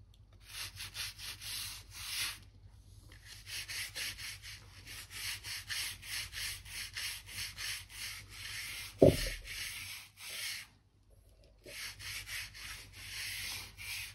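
A crevice brush is dragged along the seams of wide oak floor planks, making repeated dry, bristly scrubbing strokes with bright, hissy texture. The strokes come in quick rhythmic bursts with brief pauses, and a single sharper knock sounds partway through.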